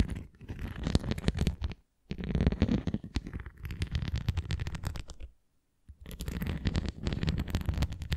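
Long nails scratch and tap the rim and nubbed surface of a translucent red plastic flying disc toy, held edge-on and tilted. Dense, low, rumbling scratches and quick taps come in three bursts, separated by brief silences.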